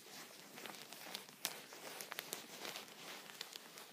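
A thin clear plastic punched pocket (sheet protector) lies flat on a towel and is tapped with a vertical wooden pencil while the fingertips of the other hand rest on the sheet. Quiet, bright plastic crinkling runs throughout, with sharp little ticks scattered through it, and each one dies away almost at once.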